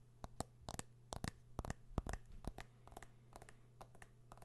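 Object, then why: Smartphone with metal back and glass front. A smartphone with a metal back and glass front, held in one hand, is tapped and scratched by a fingernail. The result is a quiet, irregular series of short, sharp clicks and light scrapes with no ring, over a steady low hum.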